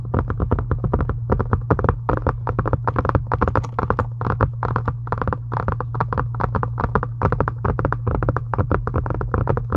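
A solid pink embossed faux-leather covered book or journal, lying flat, is tapped rapidly and continuously with long pointed acrylic nails. The taps are short, dull clicks that die away almost instantly, over a steady low hum throughout.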